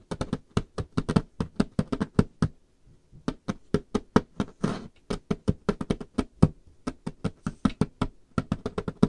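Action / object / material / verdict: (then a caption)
knock / varnished wooden tabletop / wood / none. Curled fingernails and knuckles rapidly tap and knock on a solid varnished wooden tabletop, about 43 short, dry hits with a dull, low-heavy thud and almost no ring. The taps come in quick, uneven bursts with a short pause near the 3-second mark and a brief rougher, noisier sound just before the 5-second mark.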